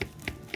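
A freshly baked puff pastry beef patty, out of the oven after about 18 minutes with a golden brown egg-washed top, is cut or broken open on a plate. Three short, bright crunching crackles are heard with quieter crackling between them. The crust is crispy and flaky.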